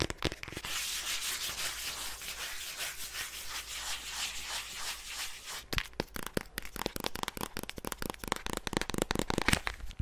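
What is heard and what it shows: Long nails rub and scratch across the surface of a flat black eyeshadow palette case, making a steady, bright, hissing scrape for the first half. It then breaks into a quick run of sharp, dry scratches and clicks.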